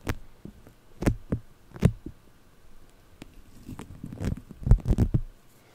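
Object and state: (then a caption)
Foam-bead clay picked and scratched. Purple polystyrene-bead floam wrapped around a microphone is picked and scratched with nails and fingertips. Close, muffled thumps and soft crackling pops come in uneven bursts, mostly deep and dull with short bright clicks, growing busier and louder toward the end.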